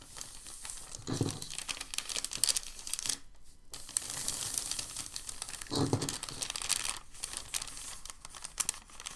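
A palm rubs a crinkled sheet of white packing paper flat, then a hand grabs the sheet and crumples it. Dense, bright crinkling and rustling runs throughout, with a few soft, low thumps as the hand presses on the paper.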